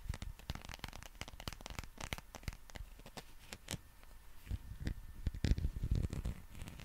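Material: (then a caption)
Rubber. Fingernails and fingertips scratch the bumpy skin of a fairly large, green, textured, soft rubber or plastic dinosaur figure. Rapid, irregular scratching and crackling clicks are broken by short sharp ticks and low, dull thumps, growing slightly louder toward the end.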